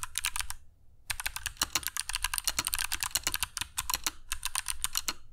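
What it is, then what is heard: Mechanical keyboard with plastic keycaps. Fingertips of both hands type continuously on a compact black mechanical keyboard with dark PBT plastic keycaps and Kailh Box Jade switches, resting on a cork desk mat. Rapid, sharp, bright clicks with very short decay follow one another over a light low thud, with a brief pause near the start before the typing resumes.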